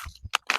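A naturally dried areca nut, dried on the tree and just harvested, is shaken, and its hard husk gives three short, dry, bright clicking rattles. The rattle shows the nut is already dry.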